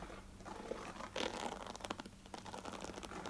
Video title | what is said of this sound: ASMR * Thick Plastic Tapping & Scratching * Soft Spoken * ASMRVilla | they give some really nice ridges on the side here as you scratch along